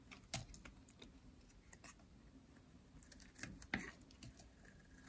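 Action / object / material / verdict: scrape / bar of soap shaved with a metal blade / soap / none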